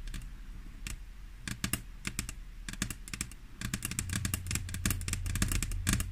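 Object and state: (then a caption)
Glass tabletop tapped with fingernails. Long fingernails of both hands tap and scratch a flat, solid glass tabletop, making sharp, bright clicks in an irregular, quickening rhythm. The taps grow denser and louder in the second half over a steady low hum.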